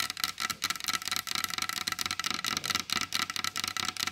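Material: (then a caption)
Wood. Long pointed blue acrylic nails tap rapidly on the surface of a large solid varnished wooden table. The result is a dense run of short, crisp clicks with a bright, high-heavy tone, very little low end, and almost no ring after each tap.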